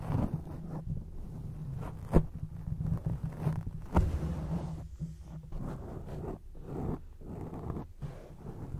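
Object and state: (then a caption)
Foam microphone windscreen being scratched. Long acrylic nails scratch a grey foam microphone windscreen, producing a muffled, bass-heavy rustling and rumbling with a low hum underneath. The scratching comes in uneven bursts, with a couple of sharp clicks standing out near the two- and four-second marks.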